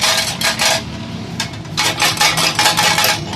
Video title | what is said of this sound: How to repair motorcycle silencer bad sound exhaust silencer bad sound repair CD 70 CC | इसके अंदर जो बांसुरी होती है जो इसकी, वो टूट गई है